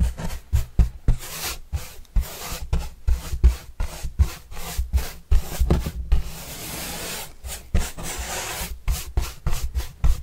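A yellow-bristle paintbrush sweeps across the surface of a large, flat, white corrugated cardboard pizza box with green edges, held upright and hollow. It makes a rapid series of short, scratchy brushing strokes with a dull, hollow low-end thump, broken midway by one longer, steady sweep before the quick strokes resume.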